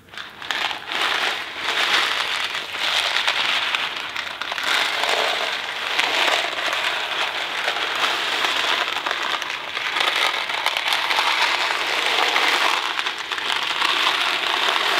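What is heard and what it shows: A thin cardboard Kraft macaroni & cheese box filled with dry pasta is held in both hands and tilted slowly, so the pasta trickles inside. It makes a steady, dense rattling and crackling hiss that is bright and papery with almost no low end, swelling and easing gently for the whole clip.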